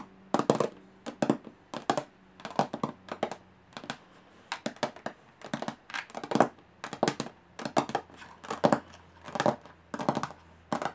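Long fingernails tap quickly on the textured metal lid of a small, hollow aluminum briefcase. Short bursts of rapid, bright clicking taps repeat throughout, each with a hollow metallic tone around 700 Hz that dies away almost at once, separated by brief quiet gaps.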